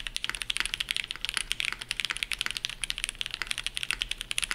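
A dark navy Shelby80 tenkeyless mechanical keyboard with TTC Matrix switches, GMK ABS keycaps and a POM plate is typed on at full speed with the fingertips of both hands. About 30 rapid, crisp clacks ring out with almost no low end, each snapping off instantly in a bright, high clatter centered around 3.2 kHz.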